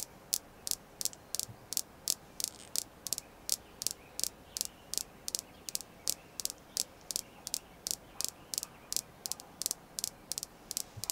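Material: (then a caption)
Jasper. A small, solid, polished red jasper star is tapped and scratched with long nails, producing about 35 crisp, bright clicks. The clicks come at an uneven pace and die away almost instantly, over a faint hiss with almost no low end.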